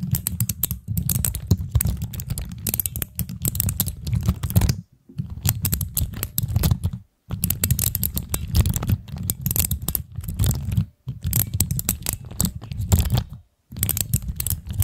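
Long acrylic nails and fingertips tap and press the pastel plastic keycaps of a hand-sized fidget cube, its keys set on mechanical switches and mounted on a black stand. Rapid, clicky, typing-like taps come in dense bursts with a heavy low thump under bright clicks. The bursts are broken by brief silent pauses.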